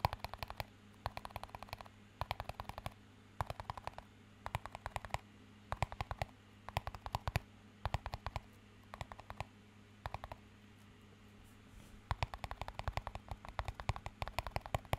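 Fingertips tap and scratch a small, empty clear plastic cup in quick bursts of short, dry clicks, separated by brief pauses. Each tap dies away almost at once. A faint, steady low hum runs underneath throughout.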